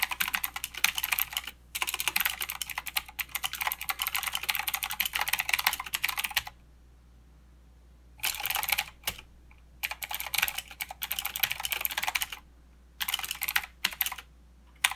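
Fingertips of both hands type on a mechanical keyboard with plastic keycaps and clicky blue switches, making rapid, bright, sharp clacks. A long continuous run of typing lasts about six seconds, then after a quiet pause come shorter bursts of keystrokes with brief gaps between them, ending on a single click.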